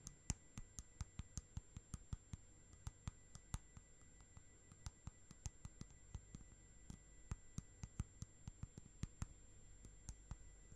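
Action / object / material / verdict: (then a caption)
tap / plastic tub filled with slime / plastic / none. Long nails tap and click on the side wall and lid of a small, round, clear plastic tub full of orange slime. About 26 sharp, dry clicks land at an uneven, quick pace, each ending almost at once. The clicks are quiet and bright over a steady low rumble and a faint high whine.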